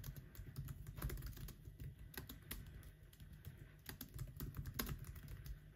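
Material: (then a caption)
Plastic. Fingertips type continuously on the black plastic keys of an aluminum laptop keyboard, producing a rapid, steady stream of soft, dull clicks with low thumping weight and brief bright ticks. Faint music sits in the background.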